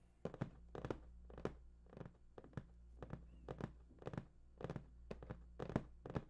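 Fingertips tap the top and edge of a large, hollow, printed cardboard PS4 box in a quick, uneven rhythm. Each tap is a short, dull, hollow thunk that dies away almost at once, with a faint steady low hum underneath.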